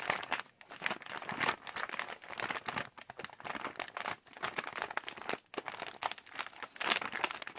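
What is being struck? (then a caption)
Plastic pouch of wrapped sweets. Fingertips tap and squeeze a hand-sized yellow Halls resealable plastic cough drop pouch holding wrapped drops, crinkling the plastic. Dense, bright, crisp crackles rise and fall in quick bursts with almost no low end and very short decay.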